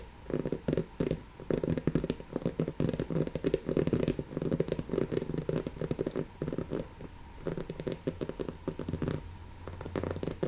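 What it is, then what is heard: Woven fabric pillow scratched. Long natural fingernails scratch across a brown, soft, stuffed cushion of textured woven fabric, producing a steady run of quick, dry, crackly scratching bursts. The rasping sits mostly in the low-mid range, with brief lighter stretches between the denser passages.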